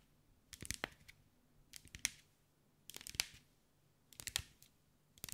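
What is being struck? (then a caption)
Mosaic ball covered in small glass tiles. Long white acrylic nails tap and scratch over the small green mirrored glass mosaic tiles covering a hand-sized sphere held in the hands. Short, bright, dry clicks and light scrapes come in quick clusters, separated by quiet pauses of about a second.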